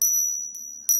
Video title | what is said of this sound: Discernment: Testing Counterfeit Spirits - Sound & Substance | two counterfit coins hitting each other I believe they call this the Ping test